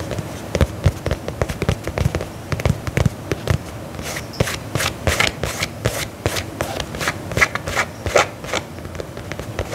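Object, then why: Faux leather combat boot. Fingernails tap and scratch the side of the upper on a black faux leather lace-up combat boot held upright. The result is a steady run of short, dry clicks with a soft low thump beneath each, mixed with bright scratchy rasps that grow denser in the second half.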